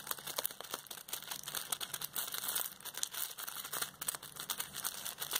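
A large, hollow roll of clear plastic bubble wrap is held in both hands while the fingers squeeze and rub its surface, crinkling the bubbles. The result is a dense, continuous run of bright, crackling crinkles with sharp little snaps, almost no low end, and no ring after each crackle.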